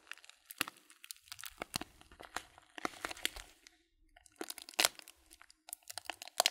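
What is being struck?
Paper bag of loose tea.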